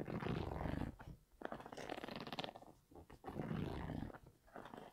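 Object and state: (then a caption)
Sneaker with knit upper and rubber sole. Fingers and nails scratch the sole and Primeknit upper of an empty grey Yeezy 350 V2 sneaker with an orange stripe and a rubber-encased sole, held up in the air. The result is a dense, rough scratching with a low, growl-like texture that comes in bursts separated by brief quiet dips.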